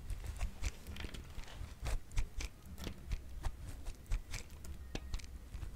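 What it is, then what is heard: Bar of dry soap being grated. A solid, hand-sized, yellowish bar of dry soap, held in one hand, is shaved against the metal-bladed slot of a grey-green plastic grater tool in repeated scraping strokes. It gives short, dry, crackly rasps with a low, thumpy body and brief bright edges. Shavings pile up on the white surface below.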